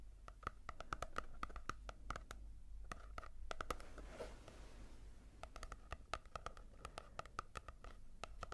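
Long nails tap and scratch on the matte cover of a small paperback manga volume. Rapid, sharp, dry clicks with a light papery ring come in bursts, broken by a softer, hissing scratch near the middle. A steady low rumble sits underneath at a quiet level.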